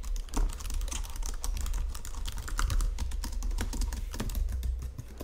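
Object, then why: Plastic computer keyboard. Both hands type on a white plastic Logitech full-size keyboard resting on marble, tapping and pressing the keys with fingertips and nails. A fast, steady stream of short, dry clicks and taps runs throughout over a constant low hum.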